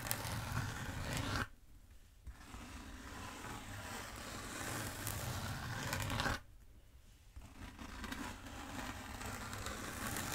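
Long nails scratch down the length of a long black bead foam roller from the top, making a dense, rough scratching hiss with a low rumble beneath it. The scratching runs almost continuously, broken by two short quiet pauses before each new stroke begins.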